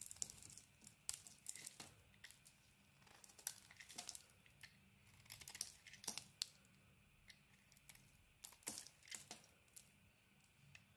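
A blade carves a patterned solid bar of soap with a cream interior, producing quiet, crisp scraping and shaving strokes. The strokes come in irregular bursts, bright and hissy with almost no low end, each cut ending abruptly.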